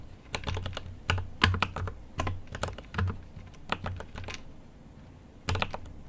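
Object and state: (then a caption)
Mechanical keyboard with plastic keycaps. A GMMK Pro mechanical keyboard with an aluminum case and plastic keycaps is typed on with the fingertips of both hands in continuous bursts of taps. Each keystroke gives a deep, muted thock with a short bright click on top, and the taps come in quick clusters separated by brief pauses.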